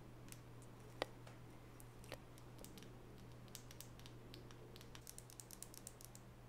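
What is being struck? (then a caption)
Small wooden nail brush with natural bristles. A small solid wooden nail brush with natural bristles is turned in the hands while long natural fingernails tap its wooden sides. Light, sharp clicks come in scattered clusters, growing quicker and denser toward the end, over a steady low hum. The taps are quiet and short, with one brighter knock near the first second.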